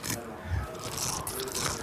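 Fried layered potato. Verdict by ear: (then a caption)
Crisp. Crisp 1,000-layer canapé potatoes are bitten into close to the mic in a crunch test, giving a run of dry, brittle crunches with bright crackle and a low thud. The crunching shows the layered potatoes are crisp.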